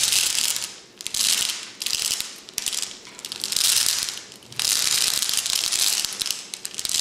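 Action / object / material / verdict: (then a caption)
scrape / glass vase filled with flat glass gems / glass / none. A tall clear glass cylinder vase full of flat glass gems lies on its side while one hand steadies it and the fingertips and short painted nails of the other tap and scratch across the glass. The result is a bright, crisp, rapid ticking and scraping that rises and falls in bursts, with almost no low end.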